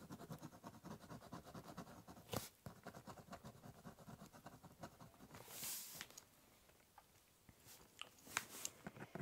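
A ballpoint pen draws lines across the top of a large, hollow brown corrugated cardboard box. Quick, dense scratching strokes run in a steady rhythm, with a few sharper taps and a brief brighter hiss midway. Each stroke dies out almost at once.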